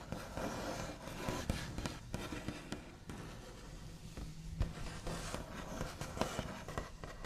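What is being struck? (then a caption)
Painted wooden table top. The backs of medium-length fingernails on both hands tap and trace along a large, solid wooden table top with a smooth white-painted finish. Sharp, scratchy taps stand out over a continuous soft scraping and rustling, with short-ringing knocks that carry a dull, low body.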